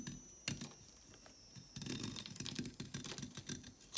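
A solid, thick orange chalk stick held in the hand is shaved and scraped with a red-handled craft blade, its flakes falling onto a marble surface. Soft, dry, bright scraping and crackling strokes come in quick irregular bursts with a low, grainy body, quiet at first and then denser and busier toward the end.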